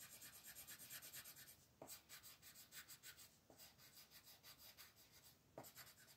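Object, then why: Wooden colored pencil on thin paper. A light blue wooden colored pencil scratches and rubs back and forth across a thin white paper mandala sheet lying flat on a table while coloring. The quiet, steady strokes make a bright, papery rasp, broken by three brief pauses where the pencil lifts and lands again.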